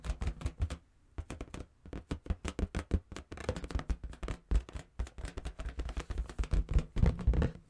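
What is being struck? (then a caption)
Inflated rubber balloon. A large inflated pink and purple latex balloon, hollow and air-filled, is held in the hands and tapped and rubbed with fingertips and nails. Many quick, dull, low thumps come in bursts, with soft scratchy rubbing between them and a brief pause near the first second. Each tap dies away almost at once.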